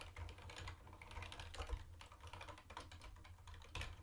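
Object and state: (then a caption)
Plastic keyboard being typed on. Fast two-handed fingertip typing on a mint-green plastic retro keyboard with round white plastic keycaps produces a rapid, continuous patter of short, dry, bright clicks. A steady low hum sits underneath the keystrokes, with a few louder presses standing out near the middle and the end.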